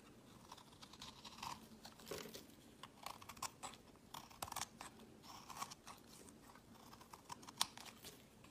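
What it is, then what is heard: Soap bar being shaved. A palm-sized, solid, opaque tan-orange soap bar held in the hand is shaved into flakes with a utility knife blade, the shavings piling below. Soft, dry scraping and crisp crunchy cuts come in irregular bursts with bright, airy texture, and a few sharper snaps stand out.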